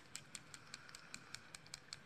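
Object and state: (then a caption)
Liquid eyeliner pen being shaken. A liquid eyeliner pen is shaken, making a dozen bright, sharp clicking rattles at a steady rhythm of about five per second. Each click is short and high-pitched, with a faint hiss between them.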